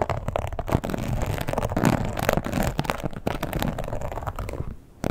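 Long pointed nails scratch across the textured surface of a red croc-embossed leather wallet lying flat and tap on it. The result is a dense, continuous rasping scratch with low, muffled thumps and short taps mixed in. It drops briefly to near silence just before the end, then picks up again.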